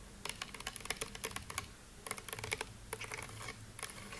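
Fingertips tap and scratch quickly on a white wall of stones set in concrete beneath a brick arch. The result is bursts of sharp, bright clicks with very short decay, separated by brief pauses. About twenty distinct taps can be counted.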